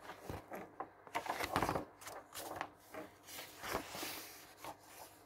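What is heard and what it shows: Fingers grip the page edges of a thick glossy paper catalog lying open on a wooden table and turn its pages. A series of soft, crisp paper rustles and flaps sounds, each with a bright, papery swish that fades quickly between turns.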